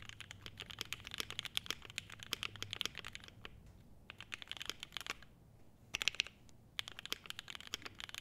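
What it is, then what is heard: Mechanical keyboard being typed on. Two hands type continuously on a clear polycarbonate-case 75% mechanical keyboard with ABS keycaps, pressing the keys with the fingertips. The result is a dense run of short, bright clacks with almost no ring, broken by a few brief pauses.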